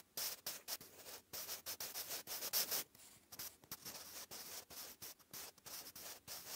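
A wooden graphite pencil writes cursive on a lined grey paper notebook page, making a dry, bright scratching sound. The strokes come in short, uneven bursts separated by brief pauses, with the energy almost entirely high and very little low end.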